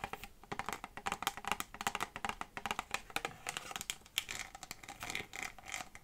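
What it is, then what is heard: Textured plastic bottle. Long fingernails scratch a small textured PET plastic bottle with an orange cap, making a rapid run of dry, crisp scratching clicks. The strokes are bright and papery, with almost no low end, and each one dies away almost instantly across about six seconds of quiet, closely spaced texture.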